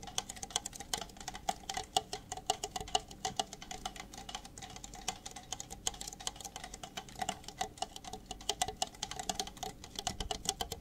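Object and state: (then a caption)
Empty plastic cups. Two identical empty red plastic party cups, hollow and thin-walled, are tapped and scratched with fingertips and nails while moved around close to the mic. Rapid, uneven clicks and scratchy ticks run continuously over a steady hollow ring near 760 Hz, bright and dry with almost no decay.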